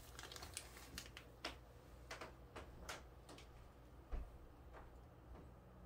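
A small clear plastic bag full of fine, soft white sand is squeezed and rubbed by fingertips and hands on a bamboo tray. Quiet, sharp plastic crinkles and clicks come in bursts over a low, steady hum, while the sand shifts softly inside the bag.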